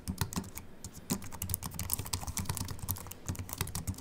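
Fast fingertip typing with both hands on a slim Apple Mac keyboard with an aluminium body and white plastic keys. A rapid, continuous patter of short, dry key clicks with a soft low thump under each stroke and brief bright ticks on top, each tap dying away almost instantly.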